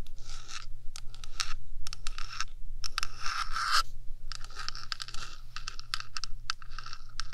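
Long dark nails rapidly tap and scratch the top surface of the black hollow metal body of a 3Dio microphone. Quick, bright, scratchy bursts come in clusters, with short pauses between them. A steady low hum runs underneath throughout.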